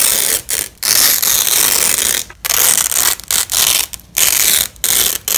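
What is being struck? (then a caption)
Nylon hook-and-loop fastener strap. A yellow and black nylon hook-and-loop fabric strap lying on a sheet is pulled apart by a black-gloved hand. It makes a series of loud, crackling ripping bursts separated by brief silent pauses. The tearing rasp is bright and high with almost no low end.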